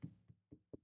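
Knuckles knock four times on a wooden surface for luck. Each knock is a short, dull, low thud with almost no ring, spaced about a quarter second apart.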